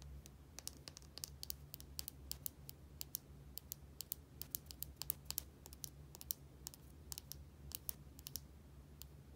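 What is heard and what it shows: Long painted nails tap and scratch a small plastic bottle with a white cap and a barcode label. The sound is a quick, irregular run of sharp, bright clicks that die away instantly, with faint scratching between taps. A steady low hum runs underneath throughout.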